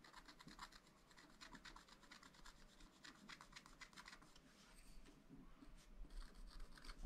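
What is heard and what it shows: A wooden stylus scratches short, quick strokes into a black coated sheet on a scratch-art paper pad, making a dry, raspy scratching that repeats in an uneven rhythm. Each stroke is brief and bright, with no ring after it, over a faint steady low hum.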